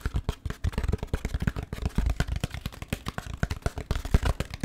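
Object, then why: Molded paper pulp food tray. An empty, hand-sized beige takeout tray of thin-walled, hollow molded paper pulp with compartments is held in one hand and tapped and scratched with the fingertips of the other while being moved in front of the microphone. A rapid, uneven run of short, dull, low thumps is heard, mixed with soft papery scratching. Each tap dies away almost instantly.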